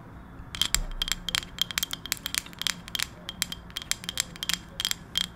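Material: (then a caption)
Wood. A round, solid, palm-sized wooden coaster is tapped with long acrylic nails while held close to the microphone. It gives a rapid, uneven run of sharp, bright clicks that die away almost instantly, over a faint low background hum.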